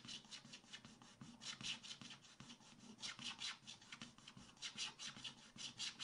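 A wooden stylus scrapes the black coating of a scratch-art book page in dense, fast strokes across the lower-right area of the coated paper. The result is a dry, bright, rasping scratch that swells and fades in uneven, rapid bursts, with almost no low end.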